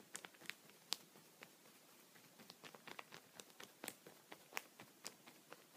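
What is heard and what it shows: A wooden pencil lightly taps a thin, clear plastic sheet protector (punched pocket) resting on a towel, first with the eraser end and then with the tip. The result is a scattered series of quiet, sharp, bright clicks and faint crinkles that stop instantly, with almost no low end and a soft hiss between taps.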